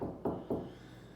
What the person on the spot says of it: you can hear it back there just by tapping it